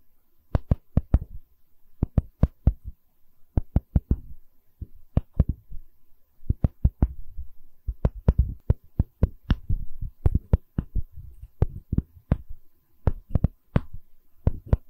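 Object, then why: Wooden tree slice coaster with bark. A solid wooden tree slice coaster with a bark edge is tapped and scratched with long nails on its bark edge and face. Quick, dry taps come in uneven clusters with soft scratching between them. The sound is mostly low and thumpy, with very little brightness.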